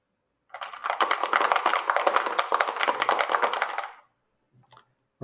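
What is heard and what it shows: An object wrapped in a dish cloth is shaken at the same strength and distance as before, giving about three and a half seconds of dense, rapid rattling, followed by a brief faint rustle. The cloth muffles the sound only a little, giving a slightly lower reading than the unwrapped control.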